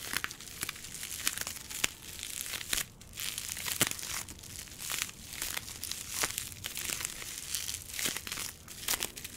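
A tall plastic bottle with a purple label, wrapped in clear plastic bubble wrap, is squeezed and rubbed by fingers. The result is a steady, bright crinkling with frequent sharp crackles and snaps, and almost no low end.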